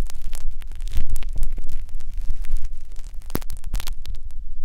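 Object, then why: Silicone ear model on a binaural microphone, probed with thin metal picks. Two thin metal wires on a blue syringe-style holder scratch and poke inside the ear canal of a life-size solid silicone ear mounted on a round binaural microphone. Close, rumbling scrapes and rapid crackling pokes come in dense bursts over a steady low throb, with brief bright clicks breaking through.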